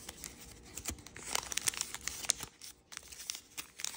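A white and red patterned chiyogami origami paper sheet, folded into a crane base, is creased and rubbed along its folds by fingertips and nails. The result is a steady stream of bright, dry crinkling and rustling, with many short, crisp ticks of paper sharply pressed. There is almost no low end and no ring after each touch.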